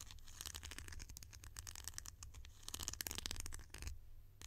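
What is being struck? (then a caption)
Plastic lid. A hollow, bright green plastic lid is held in the hand and tapped and scratched with long nails. The result is a dense run of quick, dry clicks and scratchy rasps with a bright edge over a low hum, easing briefly near the end before the tapping resumes.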